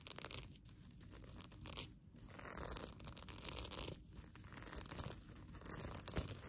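Long nails scratch and crumple the reversible plastic sequins on the soft, flexible fabric of a mermaid tail blanket. The result is a steady, bright, crinkly rasp with a low rumbling undertone, swelling and easing as the sequins flip and rub against each other.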